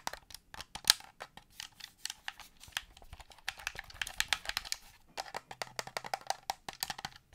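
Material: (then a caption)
Plastic. A black plastic Xbox-style gamepad is held in hand while fingernails tap and click its buttons and shell. The result is a steady run of many short, crisp, bright clicks and taps with almost no low end. Some of the clicks come quickly in clusters and others are spaced apart.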